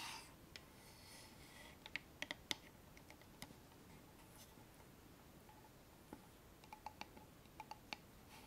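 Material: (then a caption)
Wood. A small hollow wooden box with a metal clasp is held in both hands and tapped and scratched with long manicured nails. About fourteen short, sharp, bright clicks stand out over a quiet, steady scratching rustle, with a brief burst of hiss at the very start. Each tap dies away almost instantly with no ring.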